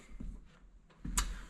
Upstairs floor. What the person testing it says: quand je marche ça résonne un petit peu ça ça sonne un peu le creux